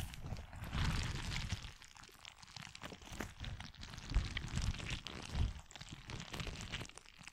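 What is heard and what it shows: A hand-sized, soft, clear rubber stress ball filled with orange and white water-gel beads is held beside the mic, without touching it, and squeezed and kneaded by both hands using fingertips and nails. The result is a continuous stream of low, squelchy, wet crunching and shifting bead sounds, with louder swells of squeezing and faint bright scratches from the nails on the rubber.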